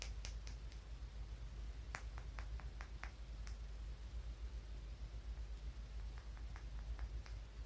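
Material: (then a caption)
Stone. A small, solid, translucent grey-blue polished tumbled stone is held between the fingers and tapped and scratched with fingernails. Quiet, sharp, bright clicks come in irregular clusters over a steady low hum.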